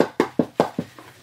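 A hard plastic protector case, possibly a Pop Shield armor type, around a boxed vinyl figure is tapped to show it is a hard stack. A quick, evenly spaced run of short, dull, hollow taps is heard, each dying away almost at once, with the last ones growing fainter.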